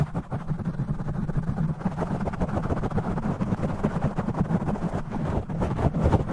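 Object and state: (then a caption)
Foam microphone windscreen being scratched. Fingers grip, rub and scratch a black foam windscreen on a studio microphone, with the audio sped up to double speed. The result is a dense, fast, continuous rumbling scrape, mostly deep and muffled, with a rapid flutter of scratchy texture throughout.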